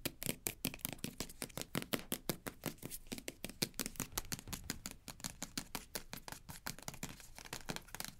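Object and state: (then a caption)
Plastic squeeze tube. Long nails rapidly tap and scratch the front and back of a green plastic cosmetic squeeze tube held in the hands. The result is a fast, steady series of sharp, dry clicks with bright scratchy edges and almost no ring, over a faint low hum.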